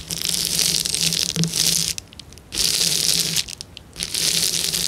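Fingers press and scratch the air bubbles on a flat, clear plastic bubble wrap sheet, producing bright, high crinkling and scratching noise with a faint low steady tone underneath. The sound comes in three dense bursts separated by two brief quieter pauses.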